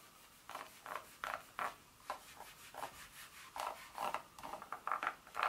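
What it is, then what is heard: Dark chocolate bar. Long nail tips rub and scratch across the segments of a solid dark chocolate bar lying flat. The result is a series of short, dry raspy scrapes with a bright, papery edge and a faint squeaky tone around the middle range. Quiet pauses fall between the scrapes.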